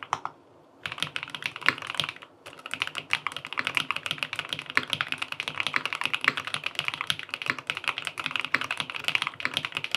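A QK80 tenkeyless mechanical keyboard, with an aluminum case, cream and peach plastic keycaps and linear switches, sits on a desk and is typed on with fingertips. Rapid, bright, short-lived key taps run nearly continuously, with brief pauses near the start and around two seconds in. The clacks carry little low end.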